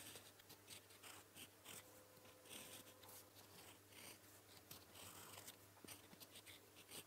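A gold metal fountain pen nib, held in the fingers, writes blue characters on a flat sheet of lined paper. Quiet, continuous scratching strokes carry bright, papery friction in short bursts over a low steady hum.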